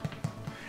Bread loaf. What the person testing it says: you can tap the bottom and if it sounds Hollow